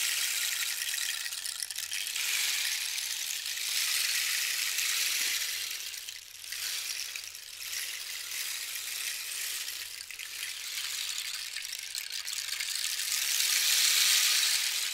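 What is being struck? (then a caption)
Dried cactus rain stick filled with loose beads. A long, hollow dried-cactus wood rain stick with a red band and yellow cords is held in the hands and tilted from horizontal to vertical and back, so its filling cascades down the tube. It makes a steady, bright, high-pitched patter like falling rain that swells and fades with each tilt, dipping briefly near 6 and 10 seconds and loudest near the end.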